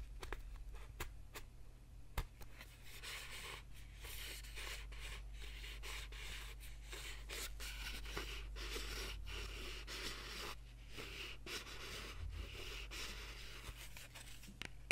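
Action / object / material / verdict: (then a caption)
scrape / small cardboard box / cardboard / none. Fingertips and nails tap and rub the sides of a small, hollow printed cardboard box. Quiet, dry scratching and rubbing fills the clip, with brief sharp taps scattered throughout over a steady low hum.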